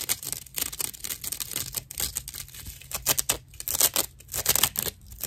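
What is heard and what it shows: Long nails scratch the edge of a dry natural loofah sponge with visible hollow chambers. The result is a dense, irregular run of rough, bright scratching and crackling bursts with almost no low end, each rasp cutting off quickly.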